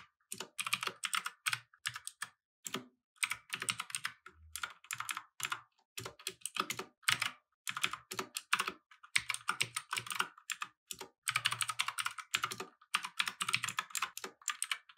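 Both hands type with their fingertips on a compact mechanical keyboard with plastic keycaps resting on a wooden desk. Rapid, bright, clacky keystrokes come in bursts separated by brief pauses. Each click is dry and dies away almost instantly.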